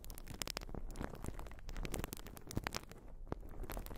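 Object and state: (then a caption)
Urethane foam sponge. Long nails scratch a white urethane foam sponge, making a steady stream of soft, crackly scratching and tearing sounds. Quick, dry clicks and bright ticks sit over a heavy low rumble, with no ring after each stroke.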